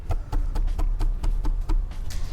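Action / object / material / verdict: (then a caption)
knock / large subwoofer cabinet / wood / solid. Knocking on the cabinet of an SVS PB17 Ultra Evolution subwoofer, a large unit of about 165 lbs with a 17-inch woofer, gives ten short, dull, low thuds centered near 78 Hz. Each knock dies away quickly, so the cabinet sounds solid and heavy.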